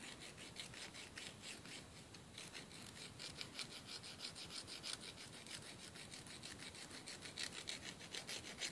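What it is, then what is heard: Emery board filing fingernails. A thin, flat, solid emery board nail file, held in the fingers, is rubbed rapidly against fingernail tips over a wooden table. It makes a quiet, steady, bright rasping made of quick, slightly uneven filing strokes, about three per second, with little low end.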